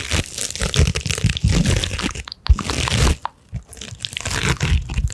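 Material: Rhinestones.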